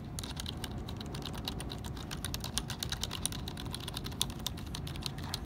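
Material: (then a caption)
Plastic. Fingertips tap and scratch across the hollow plastic key caps of a black HP plastic computer keyboard lying on a wooden desk, pressing the keys. Quick, dry plastic clicks and clacks come in a steady, dense stream over a low background rumble, with a few sharper taps standing out.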